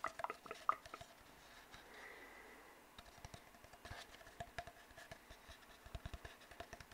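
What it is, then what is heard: Cardboard tube tapped and scratched. Fingertips tap and scratch an empty, hollow brown cardboard tube. A few sharper taps open with a hollow mid-pitched knock, then a soft brushing scratch follows. After that comes a long run of quick, quiet, dry taps that die away almost instantly.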